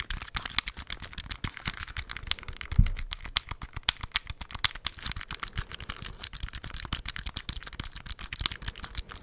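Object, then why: Handheld plastic scientific calculator keys. Fingertips tap the keys of a handheld black plastic scientific calculator in a quick, steady stream of light, bright plastic clicks with a soft low thud under each press. One heavier knock stands out near the three-second mark, and the tapping then carries on unevenly to the end.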